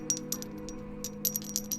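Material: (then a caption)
PPS plastic. Two black PPS plastic keycaps are knocked against each other in a series of quick taps. Each tap makes a short, bright, high clink that sounds like ceramic or metal, though the keycaps are plastic. A steady low hum runs underneath.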